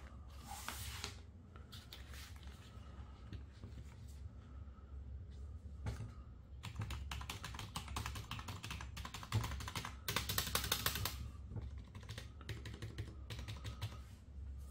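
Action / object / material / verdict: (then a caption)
tap / plastic membrane keyboard / plastic / none. Gloved fingertips tap and type on the keycaps of a full-size black and white Ant Esports MK1400 Pro backlit plastic membrane gaming keyboard with a hollow plastic body, lying on a wooden desk. Quick, irregular muffled clacks and bright clicks come in flurries, densest near the start and around the ten-second mark. A steady low hum sits underneath throughout.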